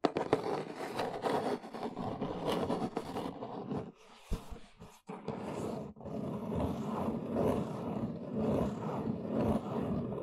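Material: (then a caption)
Cardboard. Long nails scratch and tap the side and end of a large, hollow, brown corrugated cardboard box. Dense, papery scratching fills most of the clip, with a brief quieter stretch near the middle broken by a few sharp, dull taps before the raspy scraping resumes.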